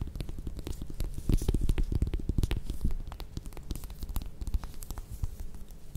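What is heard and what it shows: Long red nails scratch and tap the peel of a small whole orange held in the hands. Dense, irregular soft taps and scratchy rustles with a dull, low body come in quick succession, louder through the first half and then settling quieter.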